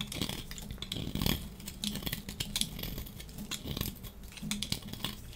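A dry, solid yellow striped soap bar held in hand is scraped along its edge with a metal box-cutter blade, making quick, dry, crackly scraping strokes with bright, crisp high ticks over a low rustle. Flakes pile up as the blade shaves the bar.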